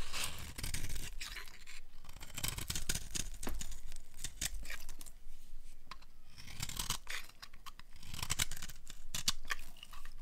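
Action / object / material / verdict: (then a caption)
scrape / bar of soap scraped with a small metal blade / soap / none. A small metal blade scrapes and carves flakes off the edge of a solid, hand-sized oval bar of dry orange Palmolive soap held in one hand. The dense, crisp scraping comes in rapid crackling bursts with bright, brittle texture and a soft low rumble beneath. Flakes shave away in quick strokes that pause briefly between passes.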